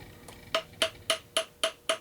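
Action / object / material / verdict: tap / crossbow fitted with rubber limb dampeners / unknown / dampened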